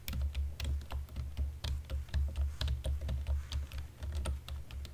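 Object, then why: Plastic computer keyboard keys. A black plastic computer keyboard has its keys pressed slowly with index fingertips and nails in dim light. It makes an uneven run of soft, sharp clicks and taps with bright edges, over a steady deep low hum.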